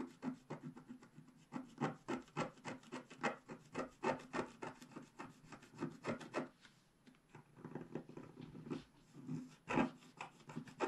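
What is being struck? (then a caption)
Scratch-art paper sheet scraped with a wooden stylus. A wooden stylus scrapes across a flat, black-coated scratch-art page, working over the upper flowers while the other hand holds the page steady. The result is quiet, dry, raspy scratching in quick, irregular strokes of roughly three to four per second, each short and without ring. The scratching briefly thins out near the middle of the clip before resuming.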